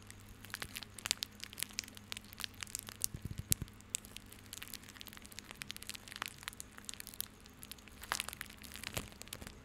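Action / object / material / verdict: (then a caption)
scrape / coiled plastic rope bundle / plastic / none. A small coiled bundle of white plastic rope is held in both hands close up and squeezed and rubbed with the fingertips. It makes dense, bright crinkling and crackling with rapid sharp clicks, over a faint steady low hum.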